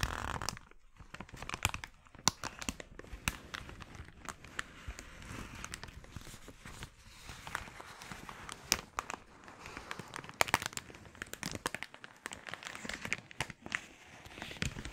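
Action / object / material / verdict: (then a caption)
scrape / thin polyethylene mailer bag / plastic / none. A glossy red thin polyethylene mailer bag, empty and hollow, is held open and then folded while fingers scrunch and crinkle the plastic. Dense bright crackles and sharp crinkling snaps run throughout, with a steady hiss between the louder pops.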